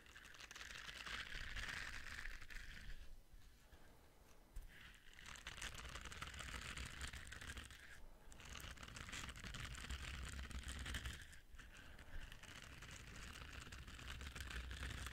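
A small, solid orange silicone body and face scrubber pad with soft bristles is held in one hand and scratched and rubbed with the fingertips close up. The sound is a steady, dense bristly scratching with a bright crinkly hiss, broken by a few brief pauses.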